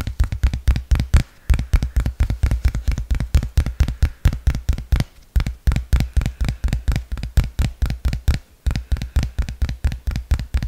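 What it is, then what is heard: Smartphone glass back, tapped. A dark iPhone X-style smartphone with a dual camera, a glass back and a metal frame is held in both hands in front of the mic while fingertips and nails tap and scratch its back. About 51 short, dull, low thumps come in a quick, uneven stream with faint scratchy texture between them. Brief pauses break the run near 1.3, 5.2 and 8.5 seconds.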